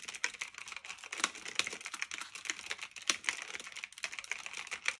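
Fingertips with medium-length nails type steadily on a black retro typewriter-style mechanical keyboard of plastic and metal with round keycaps, resting on a fluffy blanket. A fast, continuous stream of sharp, bright clicks and clacks with almost no low end, each keystroke dying away instantly, with occasional louder key strikes standing out.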